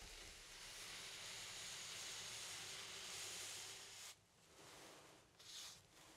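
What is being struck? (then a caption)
Paintbrush on stretched cotton canvas. A flat paintbrush loaded with black paint sweeps and rubs across a medium stretched cotton canvas, thin fabric over a hollow wooden frame, resting on a wooden easel. A steady, bright, scratchy hiss runs for about four seconds, then breaks off into quieter, softer strokes with one brief brighter swish near the end.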